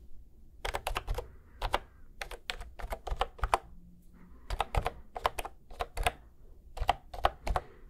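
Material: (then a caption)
Plastic. A cream plastic retro keyboard with round keys, held level at the microphone, is pressed and tapped key by key with fingertips. Quick clusters of short, sharp clacks come in bursts with a mid-range tone and a low thud under each press, separated by brief pauses.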